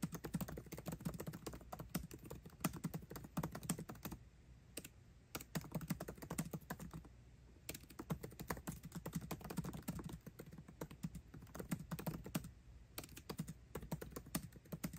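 Fingertips type fast on a MacBook Pro keyboard with plastic keycaps in an aluminum body, making a dense stream of short, soft clicks with a low, muted thump. The typing runs in quick bursts, with brief pauses around four and seven seconds before continuing at the same pace.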